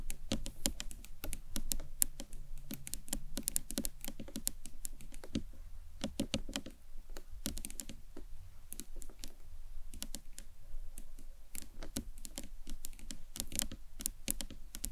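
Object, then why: Acrylic box clutch. A hollow green marbled acrylic box clutch stands on its narrow end while long nails tap on its sides. The result is a steady stream of quick, light, clicky taps that die away instantly over a soft low background rumble.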